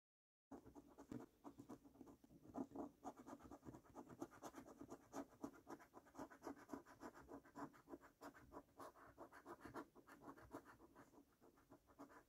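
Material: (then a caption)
Paper, latex. A coin scrapes the latex panels of a fresh paper scratch card resting on a wooden table, the card first shown unscratched. Quick, uneven scratching strokes follow one another steadily for about twelve seconds, a dry rasp with a low mid tone around 266 Hz and brief bright edges that stop almost instantly.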